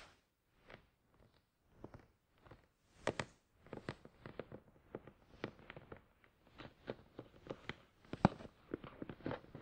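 Fingertips tap the top and sides of a hollow, glossy black printed cardboard product box for a Tascam DR-100 mkII, lying on its side on a towel. Roughly two dozen short, dull, hollow taps come in an irregular rhythm, each dying away almost at once. The taps are mostly soft, with a few sharper, louder ones near the end.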